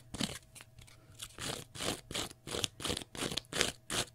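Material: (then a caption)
Cellulose. Fingernails scratch the face and edges of a small rectangular block of pale green porous cellulose sponge. The result is a series of rough, crunchy scraping bursts in an uneven rhythm of roughly two to three per second. Each stroke is dry and bright, with a short hiss and little low end.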